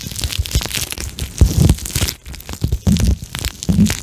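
Fingertips squeeze and rub a flexible pink plastic eye mask filled with gel beads close to the microphone. The result is a steady run of soft, crunchy squishes and crinkles, with dull low thumps under a thin, bright crackle and a brief quieter pause partway through.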